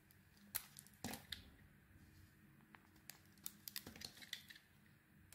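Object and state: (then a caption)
Bar of soap being shaved. A solid oval bar of soap with a red coating and white core, held in the hand, is shaved with a utility knife blade. Quiet, bright, crisp scraping clicks come in a series of short, dry strokes over a soft background hiss.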